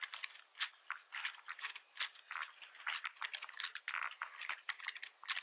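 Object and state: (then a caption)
Plastic computer keyboard. Fingertips of both hands type rapidly on a full-size black plastic membrane computer keyboard with red keys and a hollow plastic housing, resting on a wooden desk. The result is a quick, uneven run of dry, short clicks and taps centered around 2 kHz with bright edges and almost no low end, each key stroke dying away almost instantly.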